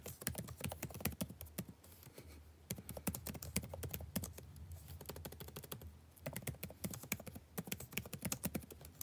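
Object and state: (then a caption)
Plastic laptop keyboard being typed on. Fingertips type continuously on the blue-backlit plastic keycaps of a dark laptop, giving a rapid stream of short, crisp clicks and taps with a soft low thud under each. The typing eases briefly around two seconds and again between five and six seconds, then picks back up to a steady, busy pace.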